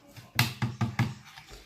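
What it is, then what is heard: Dry, sturdy handmade Christmas bauble. A handmade violet Christmas bauble of glue-stiffened material, dried until solid and firm, is tapped or bounced in the hand. Four distinct low, hollow knocks ring out about 0.2 seconds apart, each with a short, bright attack that dies away quickly. The dried bauble sounds fairly solid.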